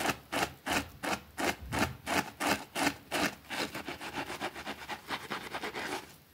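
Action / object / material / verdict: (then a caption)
scrape / small fabric rug scrubbed with a plastic brush / fabric / none. A white plastic brush scrubs the edge of a small, thin green fabric rug with a rabbit print, resting on a concrete floor and held in place by a finger. Bright, rasping strokes come steadily at first, then grow quicker, shorter and softer before fading out.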